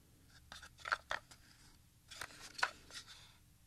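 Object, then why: Plastic audio cassette. A Maxell XLII 90 audio cassette, a small hollow cassette with a black plastic shell and a paper label, is held in both hands and scratched and rubbed with fingertips and nails across the shell. It gives quiet, scratchy plastic clicks and short rasps at an irregular pace, centered around 1.5 kHz with bright edges. Each click dies away almost instantly.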